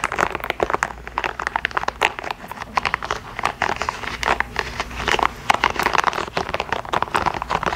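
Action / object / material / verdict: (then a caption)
scrape / soft rubber spiky massage ball / rubber / none. Long acrylic nails scratch and tap the spikes of a small, yellow, hollow, soft rubber or plastic spiky sensory massage ball held close to the microphone. The result is a rapid, dense stream of crisp, crinkly scratches and tapping clicks, mostly mid-range with bright edges, each dying away almost instantly.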